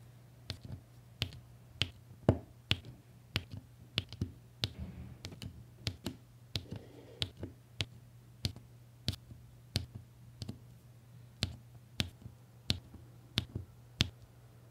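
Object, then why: Plastic applicator pen pressing resin drills onto adhesive canvas. A plastic applicator pen taps and presses small solid resin diamond painting drills, beige and pink and set in rows, down onto an adhesive canvas in quick succession. About 26 short, sharp, bright clicks ring out with almost no decay, over a steady low hum near 100 Hz.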